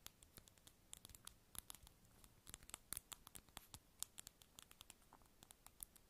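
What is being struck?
Small round plastic lip balm container.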